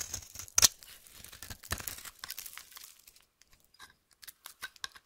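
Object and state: Bar soap being scraped.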